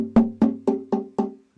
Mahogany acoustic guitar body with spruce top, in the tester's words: it sounds pretty good no matter where you tap on it it's got good tap tones